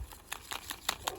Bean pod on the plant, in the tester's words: when you tap it like this makes a rattling noise